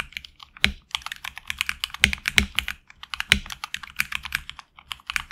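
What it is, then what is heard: Mechanical keyboard with PBT keycaps. A HyperX Alloy Origins Core mechanical keyboard with HX Red switches and backlit black and red PBT keycaps is typed on with fingertips in a side close-up. It gives a rapid, irregular stream of bright, crisp clicks and clacks with very short decay. Several louder keystrokes, possibly the spacebar or larger keys, add a brief low thump.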